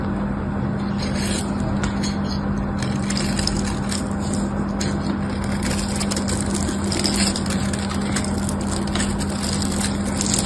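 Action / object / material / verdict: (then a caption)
scrape / bar of soap scraped with a small knife / soap / none. A small metal knife scrapes and cuts the surface of a solid pink bar of soap held in a hand with orange nails, shaving it into crumbly flakes. A dense, continuous crackling scrape with many small clicks runs over a steady low hum.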